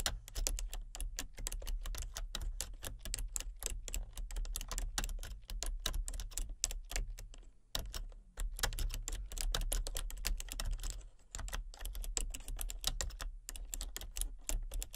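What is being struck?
Plastic computer keyboard.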